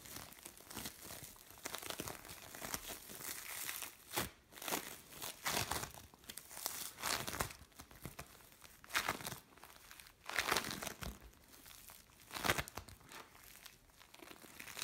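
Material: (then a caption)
Foam beads. A single soft lump of mixed blue and orange bead play foam is squeezed, pulled and pressed by hands. It gives off dense, bright crinkling and crackling with irregular louder bursts of squelchy crunching. The sound is quiet and close, with little low end.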